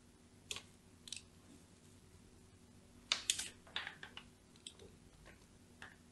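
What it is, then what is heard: Bar of soap being scored. A thin metal blade scratches and scores parallel lines into the top corner of a solid, cream-colored, palm-sized bar of soap held in the hand. About ten short, bright, crisp scraping clicks are heard, spaced unevenly and bunched together in the middle. Each dies away almost at once against a quiet, low hum.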